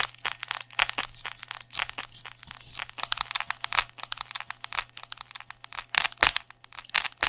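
A hollow sleeve of thick black neoprene, foam-backed fabric is held upright beside the microphone in one hand while fingertips scratch and squeeze its surface. The result is a dense run of short, bright, crackly scratching and crunching bursts with quick decay, over a faint steady low hum.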